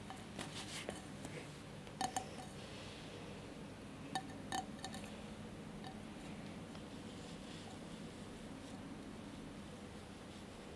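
Fingertips and nails tap and scratch the cracked-glass surface of a small cylindrical mosaic glass candle holder with a lit candle inside. Quiet, short glassy clinks ringing around 770 Hz come in scattered bursts, mostly in the first five seconds. Soft scratching and a steady low hum run underneath.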